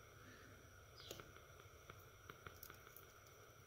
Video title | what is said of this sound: How to change a PCV valve. | shake it you can hear a little bit to the check valve in there